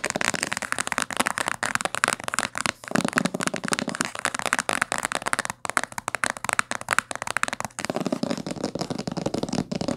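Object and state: Hardcover book.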